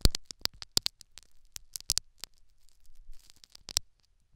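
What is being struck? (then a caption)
Metal needle on foam plug in silicone ear. A metal syringe needle scratches and taps the foam plug in the canal of a silicone dummy ear microphone. The result is a quick run of dry, sharp clicks and scrapes, each with a bright top and a low thump. Quieter rustling scratches fall between the hits.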